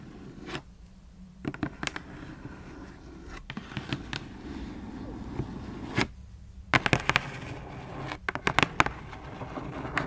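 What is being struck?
Cardboard shoebox lid.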